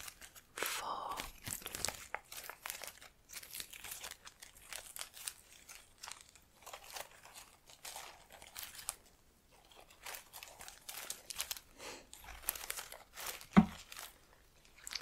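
Long nails brush and rub the plastic leaves and stems of an artificial plant sitting in a black pot. The result is a quiet, continuous run of dry rustles, crinkles and soft tearing-like scrapes, with broadband bursts reaching up into bright highs and one sharper tap near the end.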